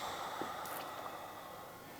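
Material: Nothing is struck.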